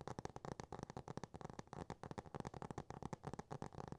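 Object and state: Hardcover cardboard book.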